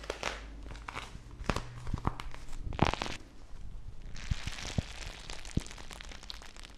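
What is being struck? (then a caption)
Plastic bag of gel water beads. Fingertips with long nails squeeze and crinkle a small, full, clear plastic bag filled with teal gel water beads. Soft crinkling and crackling of the plastic mixes with squishy pressing, a low, steady rumble, and scattered sharp taps and clicks. Near the end, a denser, brighter rustle takes over.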